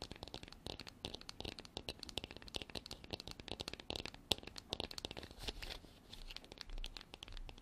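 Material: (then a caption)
Plastic. Long black artificial nails tap and scratch the embossed surface of a hand-sized, white, frosted, hard plastic container that is hollow and appears empty. Rapid, quiet, bright clicks and scratchy rasps follow each other closely, each dying away almost instantly with a dry, crisp texture.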